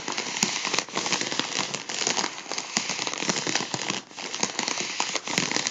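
A gold mylar foil balloon is held in one hand while the other hand's fingertips and nails pinch and crinkle a folded edge. A steady, dense, bright crinkling crackle runs throughout with almost no low end, dotted with sharp clicks and brief dips in loudness.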